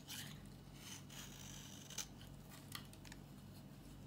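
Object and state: Dry bar soap being scraped.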